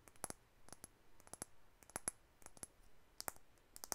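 A white plastic makeup tube with a dark cap is tapped and clicked with long acrylic nails. The clicks are quiet, sharp, and bright, often coming in quick pairs, with almost no ring after each one. They are spread across about four seconds against a faint background hiss.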